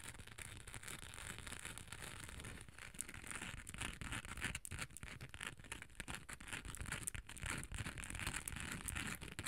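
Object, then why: Hard plastic cosmetic case with chunky glitter coating. Long acrylic nails tap and scratch the gold chunky-glitter surface of a small, rectangular, hollow hard cosmetic case with a beige top, held close to the mic. Dense, continuous gritty scratching is broken by many quick, dry clicks with almost no ring. The sound fills the range from a low rumble up to a bright, crackly top.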